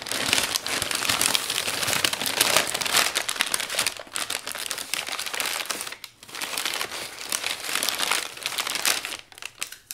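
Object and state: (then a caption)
Crumpled kraft packing paper. Fingertips press and smooth crumpled, creased sheets of brown kraft packing paper wrapped over a flat frame on a table. They make dense, bright crinkling and crackling that continues almost without break, with short quieter dips near 4 and 6 seconds.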